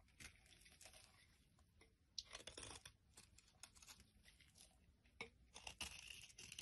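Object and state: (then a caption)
Soap bar being shaved. A utility knife blade shaves the surface of a solid, flat yellow soap bar held in the palm, carving it into flakes. Quiet, dry, bright scraping and crisp crunching strokes come in short bursts, with a brief tearing texture and almost no low end.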